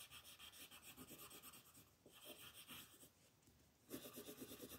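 A yellow wooden colored pencil scratches and rubs across a flat sheet of white paper printed with a monkey, lying on a table, in short coloring strokes while the other hand rests on the sheet. It makes a quick, bright, raspy scratching rhythm that eases off into softer, lighter rubbing midway, then picks back up louder and denser near the end.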